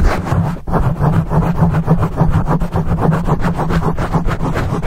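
Fingertips rapidly scratch a dark foam microphone windscreen. The result is a continuous, dense rustling and rumbling scrape, heavy in low frequencies with a steady hum-like low band. The sound has quick rhythmic pulses and a brief dip just after the start.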